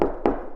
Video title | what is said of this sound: House Tour!! | you can tap here and you can hear that it's hollow